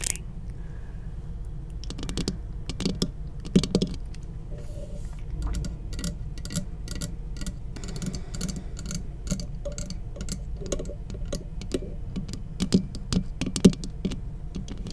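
Long acrylic nails on both hands tap rapidly on the hollow metal housing of a large black cylindrical studio microphone body. The result is a quick, uneven patter of short, bright clicks over a steady low rumble, with a few louder taps that ring briefly with a faint low tone.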